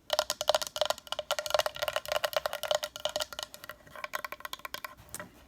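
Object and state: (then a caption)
Painted wooden decorative sign. A small decorative wooden sign from a dresser, painted black on the back and all sides with a brown front, is tapped rapidly with light, quick strokes. Each tap gives a short, dry, hollow knock with a woody tone around 600 Hz, like a wood block, with almost no ring.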